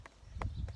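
Freshly dug garlic bulbs are tapped, giving three short, hollow, clip-clop-like knocks. Each tap carries a brief mid-range click over a low, dull body, and the sound dies away quickly. The bulbs sound kind of hollow.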